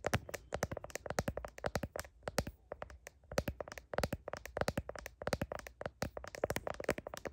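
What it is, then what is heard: Smartphone in plastic case. Long nails tap and scrape the back of a smartphone's blue heart-pattern plastic case and its camera bump, picked up by the phone's own microphone. It makes a rapid, uneven run of short, dry clicks with very little ring, centered in the midrange around 560 Hz with faint bright edges, broken by brief soft scratching pauses.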